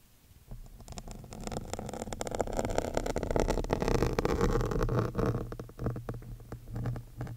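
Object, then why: Foam microphone windscreen. A metal awl with a yellow wooden handle, held by long-nailed fingers, is scratched over the large, soft, porous black foam windscreen of a studio microphone. The result is a dense, close, crackling scrape with a heavy low rumble. It starts quiet, builds steadily in the middle and then breaks into choppier bursts near the end.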